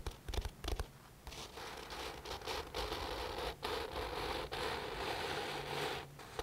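Fingertips scratch and rub the printed paper pages of an open paperback book. A few soft thumps at the start give way to a continuous dry, papery scratching with a broad hiss reaching into the bright range, dipping briefly between strokes.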